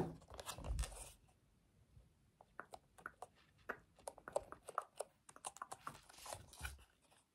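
A black plastic TV remote with rubber buttons is held close while its buttons are pressed and clicked with the fingertips. A soft rustle of handling opens the clip, followed by a brief quiet. Then comes a quick, irregular series of short, dull clicks, with a louder brush of handling near the end.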